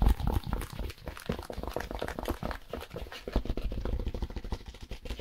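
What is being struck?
Expanded polystyrene foam packaging insert.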